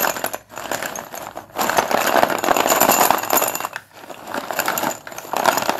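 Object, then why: Chalk sticks in a plastic bowl. Fingertips dig into, stir and lift a pile of solid white cylindrical Sundeep dustless pure white chalk sticks in a blue plastic bowl, making them clatter against each other and the bowl. The result is a dense, irregular, bright clicking rattle with brief pauses near half a second and again just before four seconds.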